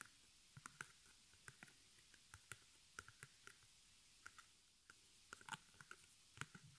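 Long nails tap and scratch the front of a small square white cotton canvas, embroidered with black thread and stretched over a hollow wooden frame held in both hands. Quiet, sharp clicky taps come in irregular bursts with light, dry scratching between them, each tap dying away almost instantly with a faint hollow body.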